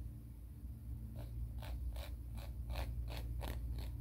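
Fingernails are filed along the abrasive face of a grey emery board nail file. After a quiet first second, short, bright, raspy scraping strokes repeat at a quick but uneven pace over a steady low hum.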